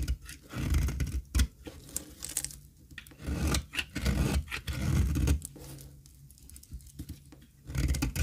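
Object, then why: Olive oil soap bar scraped with a metal blade. A solid square bar of dry cream olive oil soap, held in the hand, is scraped with a metal utility blade. The result is a series of dry, gritty scraping and shaving strokes. Heavy low-end thuds are mixed with brief bright crackles, and short quiet pauses fall between the passes.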